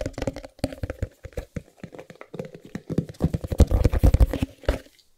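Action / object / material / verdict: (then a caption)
tap / small closed cardboard box / cardboard / none. Fingertips tap and scratch the printed faces of a small, closed white cardboard Chromecast box held in the hands. Quick, irregular, dull taps with a low, hollow thump are mixed with soft scratchy rustles. They grow louder and denser toward the end, then stop.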